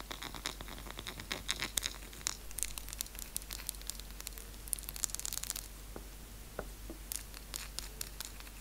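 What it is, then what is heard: Dark chocolate piece. Long nails scratch fast across the surface and edges of a small solid square of dark chocolate held in the fingers, with shavings lying on the table below. The sound is a quiet, dense run of crisp, high-pitched scrapes and short ticks with no ringing after each stroke.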